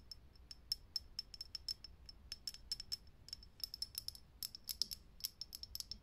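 Long nails tap fast on a lit, hollow, clear glass vintage filament light bulb. A rapid, uneven run of about 34 sharp, high clicks rings off almost instantly, with a bright glassy tick on each tap over a faint low hum.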